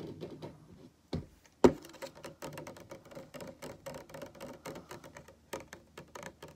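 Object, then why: Plastic cup with liquid. A translucent plastic cup about hand height, filled with pale yellow liquid and standing on a table, is tapped on its side with fingertips and nails. The result is a quick, uneven run of light clicking taps, with two sharper, louder knocks early on. The sound is dry and short, with a faint hollow tone around 350 Hz.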